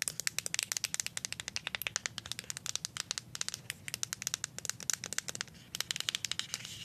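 Paper clip nails tap and scratch along the label of a small plastic deodorant stick, making a rapid run of sharp, bright clicks with almost no low end. Each click dies away at once, with a brief lull just before the tapping resumes near the end.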